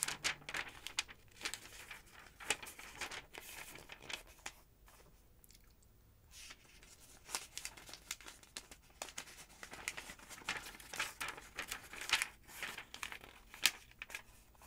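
A large open paper phonebook with yellow pages has single thin pages lifted and turned by long-nailed fingers. Bright, dry rustles and crinkles come in irregular bursts with a brief quiet lull in the middle. Each sound is crisp and short, with almost no low end.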